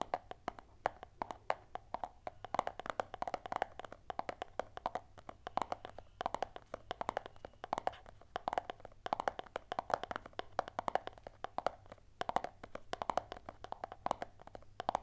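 A small, closed, hollow white cardboard earphone box is held in both hands and rapidly tapped and scratched with long nails. A dense, uneven run of dry, hollow clicks rings around 730 Hz, with bright scratchy edges and almost no low end. Each tap dies away almost instantly.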